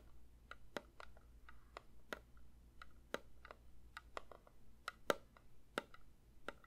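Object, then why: Metal candle tin. A metal candle tin is lightly tapped with the fingers, giving about fifteen quiet, separate taps at an uneven pace. Each tap is a short, dry click with a faint metallic tone in the mid range and a bright edge, dying away almost at once. A steady low hum sits underneath throughout.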